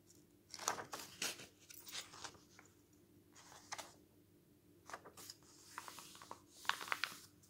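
Bare fingers flip the thin, glossy pages of an open paper news magazine lying on a table, and a flat hand rubs and smooths the spread. Quiet, bright papery swishes, crinkles and crisp flicks come in irregular bursts, each dying away almost at once, over a faint steady low hum.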